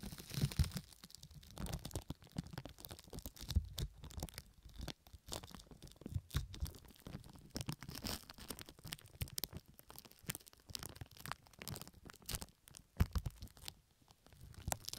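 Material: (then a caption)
Plastic. Fingertips and long nails scratch and rub loose pink plastic film laid over the right ear of a microphone. The result is a steady run of close, crinkly rustling and scratching with dense short crackles, a bright hiss on top, and soft low thumps where the film presses against the ear.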